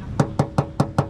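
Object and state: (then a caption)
Car body panel, original paint with no filler. Five knocks on a steel body panel of a used Mazda CX-5 SUV, done as the usual check for original paint. Each knock is a short, dry, hollow tap with a low body and almost no ring. The tinny sound indicates bare sheet metal with original paint and no filler.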